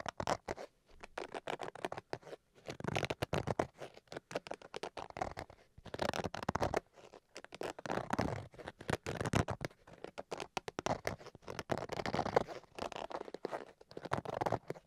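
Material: Fabric.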